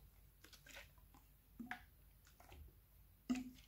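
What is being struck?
Clear plastic bottle partly filled with liquid.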